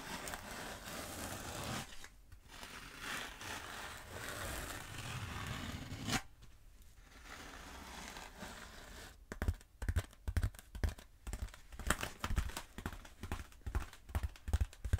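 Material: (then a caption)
Foam. Long acrylic nails scratch a long, black, textured foam roller held upright, making a steady, dry, rasping scrape for about the first nine seconds, with brief pauses around 2 and 6 seconds. The sound then turns into quick, irregular, sharp taps and scratches with a dull, low, hollow thump beneath the bright crackle.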